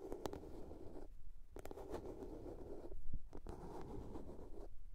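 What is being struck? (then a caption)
Small plastic box. Long nails tap and scratch the lid and sides of a small, hollow blue plastic box. The result is a soft, continuous scratching texture, dominated by low, muffled tones, with brief bright ticks from the taps.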